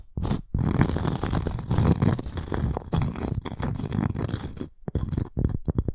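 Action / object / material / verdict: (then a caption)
scrape / cork coaster with wood rim / cork / none. Long nails scratch the surface of a round, flat cork coaster with a wood rim. The scratching is a dense, rough, low-heavy rasp made of rapid strokes, with brief pauses before it resumes in short bursts.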